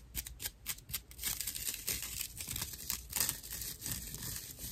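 A dry, porous natural loofah pad is gripped in both hands and scratched with long nails. The result is a run of quick, bright, rough rasping strokes: short separate scrapes at first, then a denser, near-continuous scratching with a high, hissy texture and little low end.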